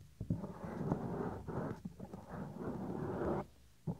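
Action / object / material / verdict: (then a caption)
scrape / silicone ear cover of a binaural microphone / silicone / none. Fingertips pinch and rub the small, solid, white soft silicone ear cover of a 3Dio binaural microphone. The result is close, muffled rustling and squeaky friction in long dull swells, with a few soft thumps. The sound sits low and carries almost no high brightness.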